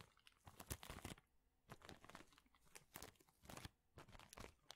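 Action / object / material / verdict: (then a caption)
scrape / plastic bag filled with thin wooden chips / plastic, wood / none. A large clear plastic bag full of thin, flat wooden chips is squeezed, crinkled and scratched with fingertips. It produces bursts of bright, crackling crinkles and dry crunches, separated by brief quieter pauses.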